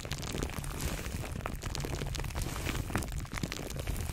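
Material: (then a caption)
Plastic film. Clear plastic cling film wrapped around a microphone is squeezed and crinkled by the fingertips of both hands. The result is a dense, continuous crackling with a heavy, boomy low rumble and sharp bright crackles on top, holding a steady level throughout.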